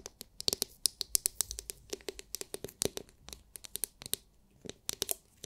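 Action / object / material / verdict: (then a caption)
tap / hard plastic massage brush shell / plastic / none. Long nails tap and scratch the hard, clear, glitter-filled plastic dome of a palm-sized oval massage brush. The result is a quick, uneven run of sharp, bright clicks with faint scratchy texture between them. The taps are dry with almost no low end and stop instantly without ringing.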